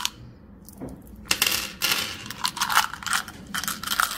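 A small, hollow, translucent orange plastic Tic Tac box, partly full of hard mint candies, is held in the fingertips and tipped and shaken. After a quiet start, the mints rattle in quick, bright, clicky bursts with almost no ring as they pour out into the palm.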